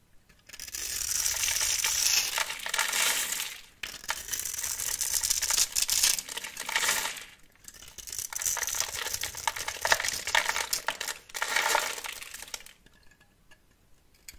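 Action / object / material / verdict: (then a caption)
scrape / bar of soap scraped with a metal blade / soap / none. A metal blade scrapes and shaves the scored surface of a solid, palm-sized rectangular bar of pink soap held in one hand, sending shavings falling off in repeated strokes. Each stroke gives a dense, crisp, bright crackling scrape made of many tiny ticks, with almost no low end, separated by short pauses. The sound fades to near silence at the end.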